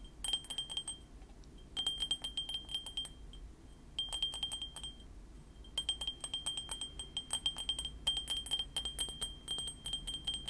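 A small white printed ceramic mug with cartoon prints, hollow, is held beside the microphone and tapped with fingernails. Bursts of rapid, light clicking taps come in clusters, each ringing briefly at a bright, high pitch near 3.2 kHz with short pauses between bursts.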